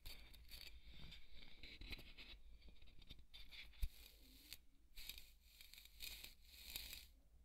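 A wooden skewer scratches and pokes a large white solid polystyrene foam ball, making bright, squeaky scraping and crinkly tearing sounds in short bursts. One sharper poke stands out near the middle.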